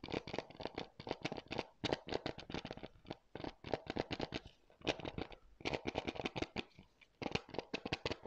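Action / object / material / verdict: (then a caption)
tap / hard plastic game case / plastic / none. A hollow, thin, hard blue plastic UFC PS4 game case is held in both hands near the mic while fingertips and nails tap and scratch its shell and cover wrap. Many quick, dry clicks come in rapid bursts with brief pauses between them, each with a bright crackle and almost no ring.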